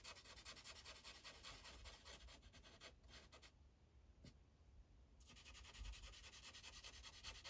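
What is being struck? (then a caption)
Felt-tip marker on a paper sheet on a clipboard. A green Sharpie marker's felt tip rubs back and forth across a thin paper coloring page on a clipboard in quick, steady coloring strokes, making a bright, scratchy hiss. The strokes pause into near-quiet for about two seconds midway, then resume at the same brisk pace.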